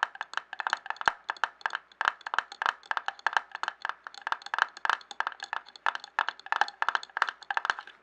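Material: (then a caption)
Glass. A clear glass jar lying on its side and filled with paper scraps is tapped quickly and steadily with fingertips and nails. Dozens of short, dry clicks and taps come in an uneven rhythm, each one ringing briefly with a mid-pitched tone around 1.6 kHz and a bright edge.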